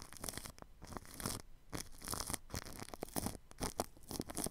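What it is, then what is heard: Plastic cling film over microphone. A paintbrush sweeps over plastic cling film wrapped around a ball microphone's grille. The result is a quiet run of crinkly, scratchy brushing strokes with soft low thumps and bright crackle.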